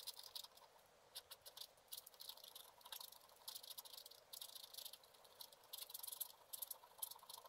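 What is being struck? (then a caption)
Coated scratch art paper scraped with a wooden stylus. A black-coated scratch art card lying flat is scratched with a wooden stylus in fast, short strokes. The result is dozens of quiet, dry, bright scratching bursts with a faint hiss and no low end, each stroke stopping almost instantly.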